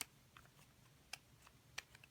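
A plastic-bodied Kaweco Sport fountain pen is tapped or clicked six times, giving short, bright clicks with almost no ring over a quiet background. It sounds like plastic, lighter than the aluminium version of the pen.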